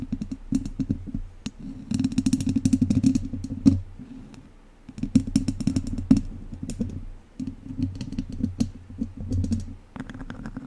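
Two wooden chopsticks scratch the sides of a hollow metal mesh microphone grille, making dense, rapid scraping and clicking with bright crackle over a boomy low hum. The scratching comes in bursts separated by brief quieter pauses.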